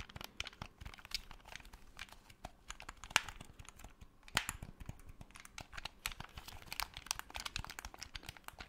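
A black, hollow plastic PS4 game controller is held in both hands while fingertips tap and click its triggers and buttons close to the microphone. The result is a steady stream of quiet, dry, bright clicks and ticks with an irregular rhythm. Two sharper clicks stand out near the middle.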